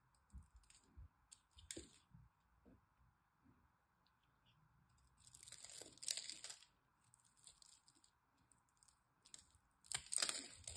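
A metal blade cuts small cubes off the cross-hatched surface of a solid green dry soap bar held in the hand. Soft, irregular crunchy scratches and snaps build into two longer, louder bright crumbling bursts midway and near the end, over a faint steady hum.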